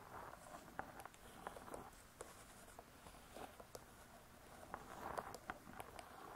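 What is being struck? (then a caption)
Spiral-bound book with cardboard cover. Long nails scratch the cardboard cover of a spiral-bound hardcover cookbook lying flat. It makes a quiet, steady, dry rasping with a mid-range scratchy body. Scattered brief, sharp ticks are heard throughout.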